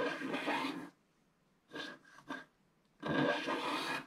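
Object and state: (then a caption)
Scratch-art card being scratched. A wooden stylus scratches the black wax-like coating off a flat scratch-art card of coloured printed paper board lying on a table, while the other hand holds the card. Long, dry rasping scrapes with a bright, papery hiss open and close the clip, with a few shorter strokes and near silence in between.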